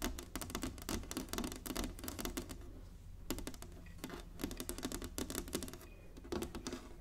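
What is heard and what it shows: An inlaid wooden chessboard resting on a table is tapped and lightly scratched with long nails and fingertips. Quick bursts of dry, bright clicking taps come in clusters, broken by brief quieter stretches of soft scratching, over a steady low hum.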